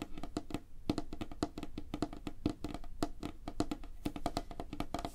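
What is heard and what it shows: Fingertips and nails tap rapidly on a flat, solid, light wooden tabletop. The result is a fast, uneven stream of short, dry knocks with a hollow woody tone around 300 Hz and a clicky, bright edge, each dying away almost at once.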